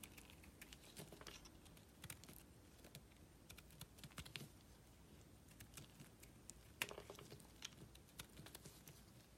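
A solid green bar of soap, held in the hand, is carved with a small metal blade. The cuts make a steady stream of short, crisp, bright scraping clicks over a soft low background hiss, with one sharper, louder snap near the end.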